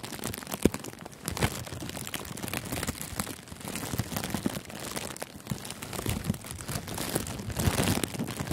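Fingertips squeeze and crinkle a thin sheet of clear plastic cellophane gift wrap wrapped loosely around a furry microphone windscreen. The result is a continuous, close, dense crackle of sharp crinkles and crunches with a heavy low end, swelling and easing in waves for the whole clip.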